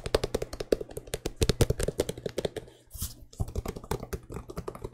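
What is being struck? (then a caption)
Leather and rubber sneaker. A white sneaker with mint and black accents in the Air Jordan 6 style, with a leather upper and rubber sole, is held hollow and empty in both hands while fingertips and nails tap and click on it. About thirty quick, dry taps and clicks come in a steady rapid patter, with a short break near the three-second mark filled by a soft, bright rustle before the tapping resumes. Each hit is low and dull with almost no ring.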